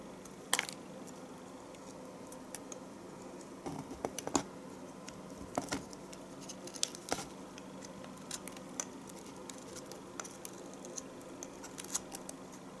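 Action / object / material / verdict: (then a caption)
scrape / bar of household soap scraped with a metal knife / soap / none. A metal knife scrapes and shaves the edge of a solid bar of household soap held in the fingers. Sharp, bright scraping ticks and short crisp shaves come at irregular intervals over a quiet, steady low hum.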